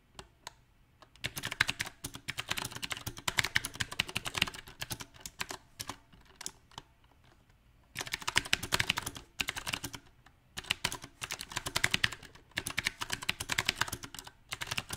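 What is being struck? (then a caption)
Mechanical keyboard with round plastic keycaps. Fingertips of both hands type on a compact backlit mechanical keyboard with round plastic typewriter-style keycaps. Bright, clicky keystrokes come in dense, uneven bursts, with sparse, scattered taps during a lull from about five to eight seconds before fast typing resumes. Each click is sharp and short, with almost no ring.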